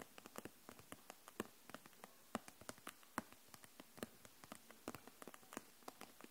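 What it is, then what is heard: Plastic marker set in plastic pack. Long nails tap the barrels of a row of plastic felt-tip markers held upright in a clear plastic package. About 31 light, dry clicks come at a slow, uneven pace, each dying away almost instantly. The taps are quiet and mid-toned, with a bright edge.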